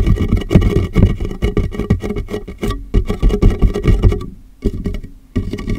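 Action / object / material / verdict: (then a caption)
tap / large plastic water jug / plastic / none. Fingertips tap rapidly on the top (the jug's base) and sides of a large, empty, hollow clear plastic water jug turned upside down over a microphone. The taps are quick, dull, hollow thuds, mostly deep with a low tone near 180 Hz, and they die away almost at once. The tapping runs almost continuously, with brief quieter gaps near the end.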